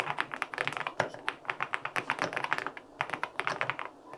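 Fingertips type rapidly on a white LINK65 mechanical keyboard with an aluminum case and white and pink plastic keycaps. Quick, crisp key taps with short, bright clacks follow one another in an uneven typing rhythm, with a brief pause near the three-second mark.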